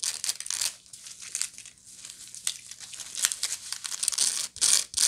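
Long nails scratch the woven side and base of a medium, hollow woven straw bag. The result is a steady run of dry, bright, crinkly scratches with uneven bursts and brief pauses, plus a faint low hum beneath.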